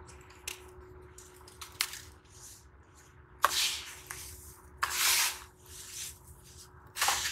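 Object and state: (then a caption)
Crumbling damp sand clumps. Both hands crush and rub small, semi-hard clumps of damp brown sand between fingers and palms over a pink plastic basin full of loose sand, crumbling them. Sharp, bright crunches give way to stretches of gritty, hissing rubbing with almost no low end, and the loose sand patters back into the basin.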